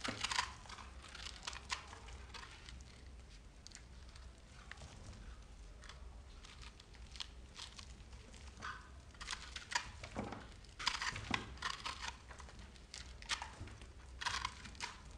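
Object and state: Dry soap bar.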